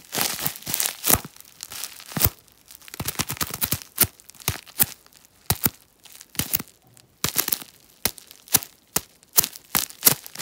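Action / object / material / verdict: scrape / plastic bubble wrap / plastic / none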